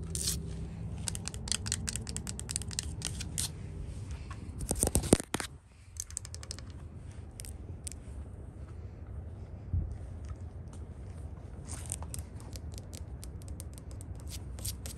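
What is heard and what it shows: Long nails scratch and tap across the surface of a white-painted solid wooden porch top rail. Quick, bright scratching strokes repeat throughout over a steady low background rumble, with a louder cluster of scrapes around the five-second mark.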